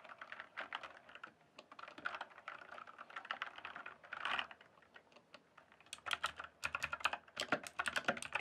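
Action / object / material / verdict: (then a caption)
tap / plastic mechanical computer keyboard / plastic / none. Fingertips type and tap on a full-size RGB-backlit plastic mechanical computer keyboard, its hollow keys sitting on a solid base. Rapid, bright, clacky keystrokes come in dense bursts with almost no low end and very short decay. A quieter stretch in the middle gives way to louder, sharper typing toward the end.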